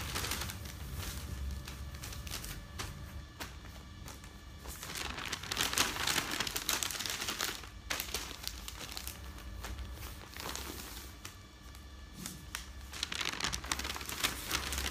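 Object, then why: Newsprint newspaper sheets. Hands with long dark nails rub open newsprint newspaper sheets flat on a bed, then lift and flip the pages. The result is continuous crinkling paper rustle, with louder bright swells at each page turn over a low steady hum.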